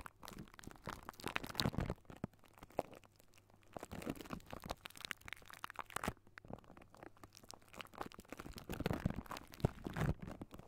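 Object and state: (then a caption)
Metal microphone mesh grille. Fingertips of both hands scratch and tap a hollow silver wire-mesh metal microphone grille. This gives dense crackling, crunchy scratches and soft taps with a heavy low-end thump and very little ring. The sound comes in bursts, busiest around 1–2 s, 4–6 s and 9–10 s.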